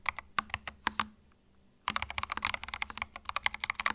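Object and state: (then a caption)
Mechanical keyboard with plastic keycaps. Fingertips type on a compact white mechanical keyboard with plastic keycaps, making about 20 sharp, bright clacks that die away almost instantly. A first burst of keystrokes stops for a brief silent pause near the middle, then the typing resumes in a quicker, steadier run to the end.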